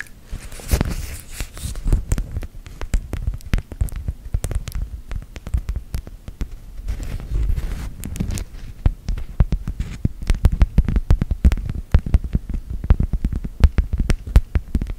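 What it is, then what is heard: Beeswax food wrap. Long gel nails tap and scratch a folded beeswax-coated cloth food wrap with a cactus print, which lies flat and flexible. Rapid, dull, low thumps come in dense irregular bursts over a soft scratchy rustle and a faint low hum. Each tap dies away almost instantly.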